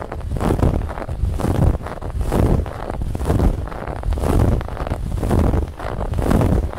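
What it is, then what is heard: Fabric pillow being scratched. Long nails scratch quickly across a soft, stuffed white fabric pillow with a woven textured band. The result is a dense, rough, heavy, low scratching texture that swells and eases about once per second.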